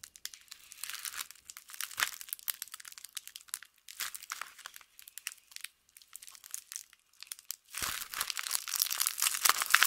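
Fingers with long painted nails crumple, fold and peel back the white paper wrapper of a solid, hand-sized vintage LUX soap bar held in both hands. The result is a quiet, bright crinkling of dense, irregular paper crackles with almost no low end, growing louder and denser near the end.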